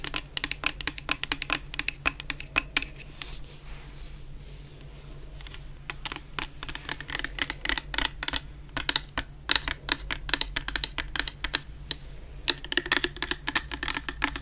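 Long painted nails tap rapidly on a medium clear plastic bottle full of orange shower gel, making dense bursts of sharp, bright clicks with almost no ring. The tapping eases into a quieter stretch a few seconds in, then returns in quick irregular runs over a faint steady low hum.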